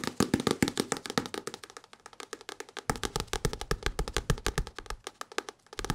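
Fingertips tap rapidly and unevenly on an old English-language paperback book with many pages. The result is a dense stream of short, dry, papery taps with no ring.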